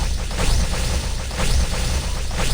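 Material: Nothing is struck.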